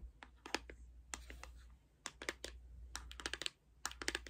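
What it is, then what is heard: Cardboard makeup palette. A closed, flat pink Ciate London cardboard makeup palette is held in the hands and tapped and scratched with long red nails. Quick, dry, bright clicking taps come in uneven bursts with short scratchy strokes between them, over a steady low hum. Each tap dies away almost instantly.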